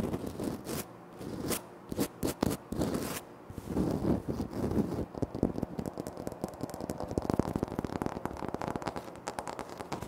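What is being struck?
Granite floor tile.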